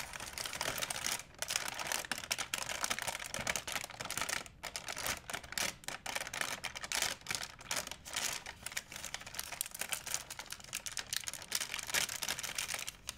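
A large, empty white plastic shopping bag is stretched and crinkled with both hands. It makes a dense, bright, crackling rustle that runs almost continuously, with only brief dips near 1.3 and 4.5 seconds. The sound is mostly high and crisp, with very little low end.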